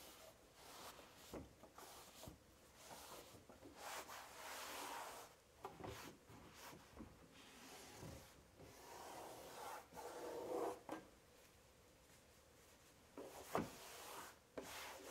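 A hand-held cloth rubs the inner walls and floor of an empty, large, hollow white melamine kitchen drawer. The result is a soft, steady swishing and scrubbing hiss that swells and fades with each stroke, broken by a few sharp, brief knocks.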